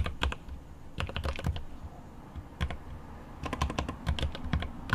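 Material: Plastic.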